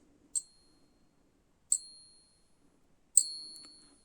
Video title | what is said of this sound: 10 Great Ways to Test Sterling Silver Coins (Real or Fake Coin Hunt) | genuine silver um certainly pure silver and to a large extent sterling silver has a really nice long high-pitched ding to it